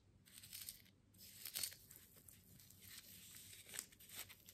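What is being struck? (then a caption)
Plant pot wrapped in jute burlap. Long manicured nails scratch and rub the coarse jute burlap wrapped around a small potted succulent (likely artificial) with a twine bow, held in both hands; the pot appears solid, filled with soil or foam. The result is a quiet, bright, dry rasping and crinkling, in uneven bursts with almost no low end, each stroke dying away at once.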